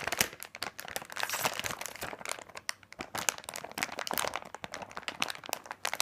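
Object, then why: Plastic candy bag. Fingertips press and rub a large printed plastic bag of candy corn, full of small packs. Dense, bright crinkling and crackling comes in quick bursts, with almost no low end.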